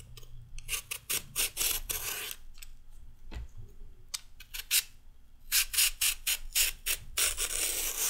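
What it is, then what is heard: Raw carrot being peeled. A metal peeler blade scrapes strips off the surface of a solid raw carrot in repeated strokes. Each stroke is a short, bright, rasping scrape with almost no low end and no ring. The strokes come in quick runs, thin out for a moment in the middle, then return in a faster, louder run to the end.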